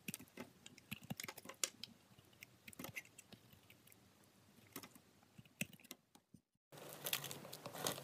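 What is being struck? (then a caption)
Glycerin soap bar. Hands with long pink nails hold a solid green translucent glycerin soap bar while a steel box-cutter blade scrapes and shaves thin layers off its face and corner. Short, crisp, bright scraping ticks come in scattered bursts, then a brief silence. The sound resumes as a denser, continuous shaving rasp.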